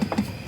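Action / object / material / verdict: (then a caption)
knock / aluminum car refrigerator side panel / aluminum / none. A knuckle knocks on the aluminum alloy side panel of the in-car refrigerator in the rear executive island of a new NIO ES8. The knocks are short, dull taps with a low tone around 200 Hz that die away almost at once. The solid metal casing, not plastic, gives a quality feel and sound.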